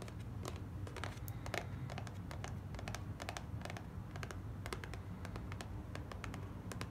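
Long black nails tap and scratch a small, white, closed cardboard gift box resting on a fabric surface. Rapid, dry, clicky taps and scratchy strokes come in quick bursts. Underneath runs a steady low rumble at a fairly quiet level.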